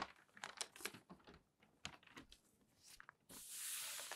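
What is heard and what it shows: Newsprint newspaper pages are turned and crinkled by hand, then smoothed flat with the palms. Quiet, bright rustles and crackles come in short bursts, ending in a steady, hissy sweep of paper.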